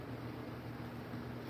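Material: Nothing is struck.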